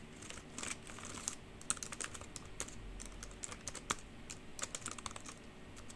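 Long pink nails and fingertips type and tap on the hollow keys of a black plastic computer keyboard. A steady run of quick, bright clacks and ticks comes through, each dying away almost instantly over a faint low background.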